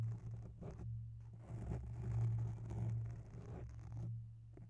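Long bare nails scratch slowly along the right side of a grey oval foam microphone cover. The sound is a soft, muffled, low scraping and rubbing with a steady low hum underneath, swelling and fading in irregular passes with almost no bright content.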